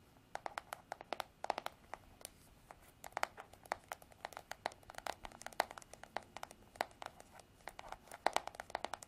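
Long artificial nails tap and scratch the smooth, white, hollow plastic back of a paddle hairbrush. The result is a quiet, irregular stream of quick, dry clicks with a hollow midrange knock around 700 Hz and a bright top. Soft scratching sounds fill the gaps, and each tap dies away at once with no ring.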